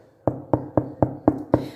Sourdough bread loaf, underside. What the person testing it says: O som de oco quer dizer que ele tá bem assado por dentro